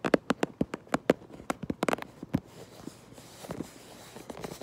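Long nails tap the back of a cardboard Lego box in a quick, uneven series of dry, hollow, short taps with a low-mid body. After about two and a half seconds, the taps give way to quieter, scratchier rustling across the surface with a few faint knocks.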